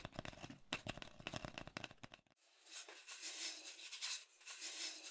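A long, hollow brown cardboard mailing tube is held upright close to the mic while hands grip, twist and rub it. For the first two seconds there is a rapid run of dry, scratchy crackling taps. After a brief hush it turns into a steadier, bright, hissy swishing rub that swells and fades.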